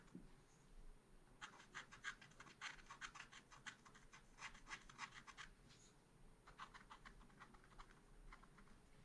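A wooden stylus scratches quick strokes across a small black-coated scratch art paper card, making dry, bright rasping bursts. The strokes come in two rapid runs separated by a short quiet pause, over a faint low background hum.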